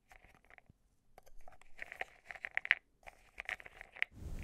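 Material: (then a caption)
Metal. A metal tool stirs and scrapes pastel meteorite powder pearls inside a small, open, silver metal cosmetic jar held in the hand over a pink shaggy rug. Quiet, crisp clicks and gritty scrapes come in quick bursts with brief pauses, each with a short, bright metallic ring near 2 kHz. A low, muffled rumble swells at the very end.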